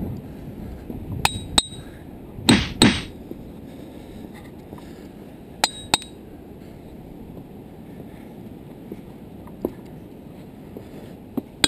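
A hammer strikes a boulder in the rock field at Ringing Rocks State Park, during a search for the rock said to ring like a big bell. Seven sharp, high, clinking hits with a brief ring are heard, spaced irregularly, along with two louder broadband bursts early on. The boulder sounds hollow.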